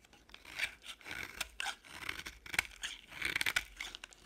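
A box-cutter blade scrapes and chips a small, solid, beige leftover piece of dry bar soap. Dry, bright scraping strokes come in short, crackly bursts, with sharp little snaps as flakes break away and almost no low end.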